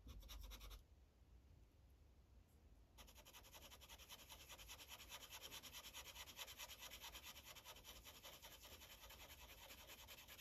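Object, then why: Felt-tip marker on a paper sheet on a clipboard. A yellow Sharpie marker tip rubs in coloring strokes across a thin paper coloring page resting on a clipboard. A bright, papery scratching opens the clip, drops to a quieter hush for about two seconds, then returns as a steady run of rapid back-and-forth strokes to the end.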